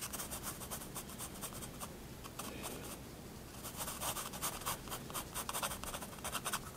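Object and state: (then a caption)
Pencil on sketchbook paper. A 4B pencil draws small figures on a page of a spiral sketchbook resting on a wooden desk. Quiet, dry scratching strokes on the paper come in quick bursts with a bright, papery hiss, growing slightly busier toward the end.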